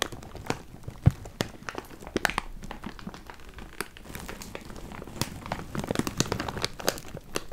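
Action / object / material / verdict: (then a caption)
shake / plastic bag of cardboard jigsaw pieces / plastic, cardboard / none. A large clear plastic bag full of cardboard jigsaw puzzle pieces is crinkled and squeezed by hand close to the mic. The result is a steady run of dense crinkling and sharp, bright crackles over a soft low handling rumble, with a few louder snaps standing out.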